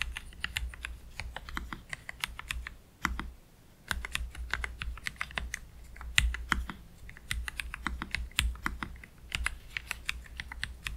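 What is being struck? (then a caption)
Low-profile mechanical keyboard with plastic keycaps. Both hands type slowly with their fingertips on a black low-profile Keychron K3 Pro mechanical keyboard with PBT plastic keycaps, Gateron Red switches and a metal/plastic frame, resting on a cloth deskmat. Dozens of short, bright clacks fall in an uneven rhythm, each with a soft low thud beneath it, over a faint steady low hum. There is a brief pause in the typing just after three seconds.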